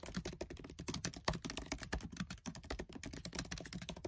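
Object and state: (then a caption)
Plastic laptop keyboard keys. Fingertips with short nails type fast on the black plastic keys of a MacBook Air keyboard set in an aluminium body. A dense, steady run of quick, dry clicks with short decay carries a low thud under each press and some bright key rattle.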